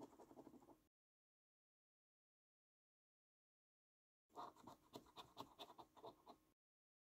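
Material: Paper.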